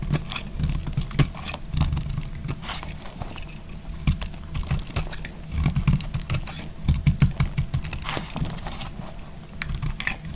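A solid, narrow beige strip of dry bar soap is held in the fingers and sliced with a utility knife blade. It makes repeated crisp, scraping cuts in quick succession: short dry crackles with a heavy low body and faint bright edges that stop almost at once.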